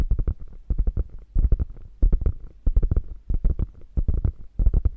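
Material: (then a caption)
Faux leather. Long nails scratch the padded top of a small beige quilted faux leather handbag lying on fur. Quick bursts of low, muffled scratching strokes come in uneven clusters, each dying away almost at once, with no bright edge.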